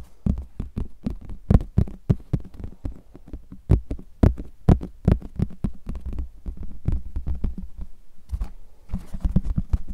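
Fingertips tap and rub the flat face of a large, thin, hollow, translucent plastic flying disc with a red rim, held in both hands. A rapid, uneven series of short, deep, low thumps comes through, each dying away almost instantly, with faint soft rubbing between the taps.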